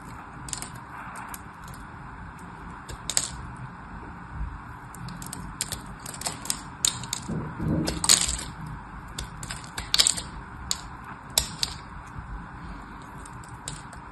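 A small metal knife blade scores and scrapes the surface of a single solid orange-and-white striped bar of dry soap held in hand, chipping off crumbly cubes. Many short, bright, crisp scratches and clicks sound over a steady low background, with a longer grinding scrape near the middle.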